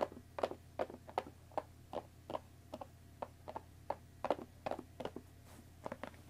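Long dark-painted nails tap and scratch the top and sides of a closed Earl Grey tea box, made of thin printed cardboard, about 20 cm long and likely full of tea bags, resting on a wooden table. An irregular run of about two dozen short, dry, papery taps sits around the mid-range near 570 Hz, each dying out almost at once. A faint steady low hum runs underneath.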